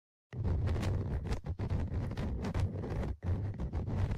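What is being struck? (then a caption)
Metal mesh microphone grille on a plastic recorder body. Tweezers scratch along the left side of the microphone grille, metal mesh on a plastic body, of a Tascam DR-100mkIII recorder. After a moment of silence, a steady, low, rumbly scraping contact noise starts and continues to the end, with a few brief dips between strokes.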